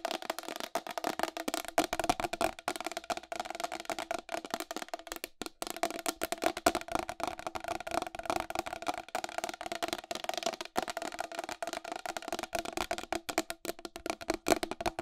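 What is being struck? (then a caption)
Plastic wall clock case and face. Long acrylic nails tap rapidly and continuously on the face and raised numerals of a round white plastic wall clock with a hollow case. The result is a dense stream of short, dry clicks with a hollow tone centered around 680 Hz and very little low end.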